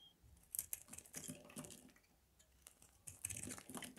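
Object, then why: Bar of soap cut with a metal blade. A metal blade carves a palm-sized, solid bar of dry grey Palmolive soap held in the hands, scraping and shaving off thin slivers that pile up on a table. Quiet, crisp scraping and crackling bursts come in two clusters separated by a near-silent gap, bright and dry with almost no ring.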